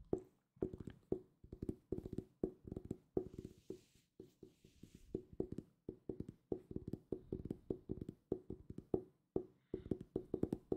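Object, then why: Hardcover book, cardboard cover. Fingertips tap rapidly on a solid purple hardcover book in quick bursts of short, dry knocks. Each tap has a woody, hollow tone centred near 380 Hz and dies away almost at once.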